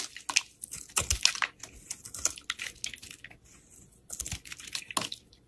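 A utility knife blade scrapes and slices flakes off a partly carved solid green bar of soap held in the fingers. Quick, bright, crisp scrapes and crunchy slicing bursts come in irregular runs, dropping to a near-quiet pause before resuming. There is very little low end and the sound is dry, with almost no ring.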